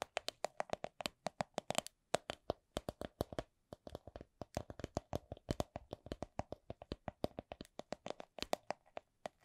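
Long nails tap a small, hollow, soft coin purse of clear vinyl/PVC printed with a Miffy design, making about fifty quick, dry, hollow clicks. Each tap has a midrange tone near 640 Hz and a bright, sharp edge, dying away almost at once. The taps come at a steady slow-to-medium pace, with a brief pause near the two-second mark.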